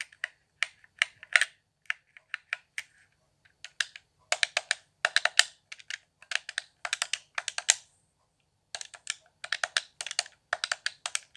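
Fingertips tap the face buttons, thumbsticks and hollow shell of a handheld, transparent plastic Xbox One controller lit blue. The result is quick, dry, bright plastic clicks with almost no ring. They come in irregular flurries separated by short pauses.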